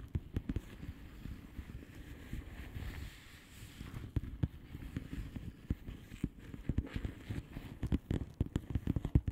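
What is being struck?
Plastic bubble wrap envelope.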